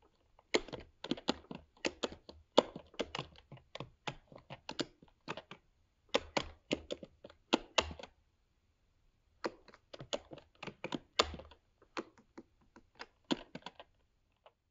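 Fingertips of both hands rapidly type on a MacBook Pro 13-inch keyboard, with black plastic low-profile keycaps set in a grey aluminium body. Short, dry, clicky key taps come in quick bursts with a brief pause near the middle. Each tap is bright and dies away almost instantly.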